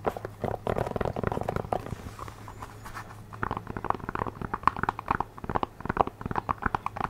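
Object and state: Synthetic rubber shoe sole.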